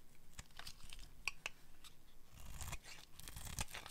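A solid, dry pink oval bar of soap is held in the hand and carved with a metal blade, scraping off curled shavings. The sound is a quiet series of dry, crisp scrapes and tearing crunches with bright, sharp edges. The strokes run close together and blur into one another.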